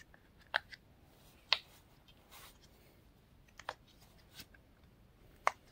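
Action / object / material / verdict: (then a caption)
tap / silicone pop-it fidget toy / silicone / none. Fingertips and nails press the bubbles of a pink and blue silicone pop-it fidget toy while it is bent between the hands. Four sharp, bright pops stand out, with softer clicks and faint rustling in the quiet gaps between them. Each pop is short and dies away almost instantly.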